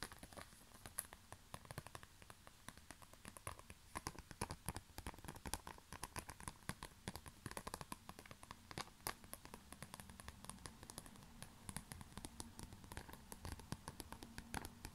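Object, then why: Small flat plastic pouch. Fingertips tap and scratch a small, flat, black glossy plastic pouch with a yellow smiley print, making a quiet, steady stream of rapid, dry crinkly clicks and scrapes. Each tap is short and crisp with almost no ring, over a faint low hum that runs throughout.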